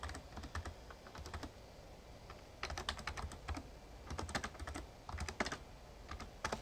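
Fingertips type on the keys of a Razer Ornata Chroma, a full-size backlit plastic mecha-membrane gaming keyboard. Quiet, soft clicks come in uneven bursts, with a faint low background hum and short, dry key taps that fade almost instantly.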